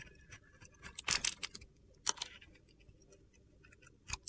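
A metal utility knife blade shaves flakes of dark glitter coating off a solid white soap bar held in the hand. Short, bright, crunchy scraping bursts come in a loose cluster, with quiet gaps between them. The strongest scrape comes near the end.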